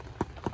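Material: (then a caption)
Bread. Two light thumps on the bottom of butter rolls baked on a Big Green Egg kamado grill, each a short, dull, hollow knock with almost no ring. The hollow sound shows the rolls are done, and they are taken off the grill.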